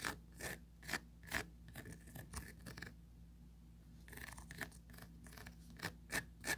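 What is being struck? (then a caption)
Plastic mesh tray. Four long pointed nails scratch rapidly back and forth across the fine grid mesh of a small, empty oval plastic tray. Quick bursts of bright, raspy scratching carry a thin squeaky tone near 1.7 kHz. There is a short quieter stretch in the middle before the scratching picks up again.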